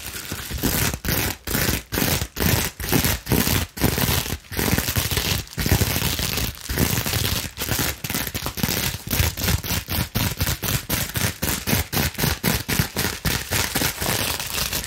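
A clear plastic bubble wrap sheet, partly bunched in hand, is scratched and gripped with long nails. Rapid bursts of dense, crackly scratching and crinkling are separated by brief quiet gaps. The noisy texture spans low rumble through bright hiss.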